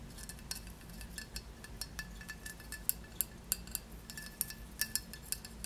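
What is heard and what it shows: Long nails scratch and tap the glossy relief surface of a solid, square glazed ceramic tile with a raised textured border, held in the hands. Quiet, bright clicks with very short ring stand out over soft scratching and a low background hum.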